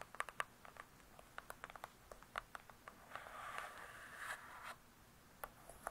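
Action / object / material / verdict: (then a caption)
tap / hardcover book with glossy cardboard cover / cardboard / none. Long nails tap and scratch the glossy cardboard cover of a large closed hardcover book, making about nineteen quiet, sharp, dry taps with a slight mid-pitched click. A soft, steady scratching rasp fills the middle of the clip before the light tapping resumes.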